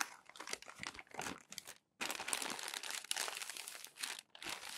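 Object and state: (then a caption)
Glossy magazine paper being crinkled and smoothed. Fingers lift a crinkled sheet of glossy magazine paper from a stack, and a palm rubs it flat against the pile. Bright, papery crinkling and rustling come in dense bursts. A brief silence falls just before the two-second mark, then a continuous stretch of smoothing friction follows.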